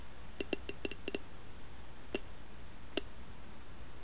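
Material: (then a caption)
Wood. Long painted nails tap and scratch the carved lid of a round, hollow, medium-size carved wooden box with a lid and brass knob. A quick cluster of short, dry clicky taps, with a hollow low knock and a bright tick, is followed by two separate single taps over a steady low hum. The taps die away almost instantly.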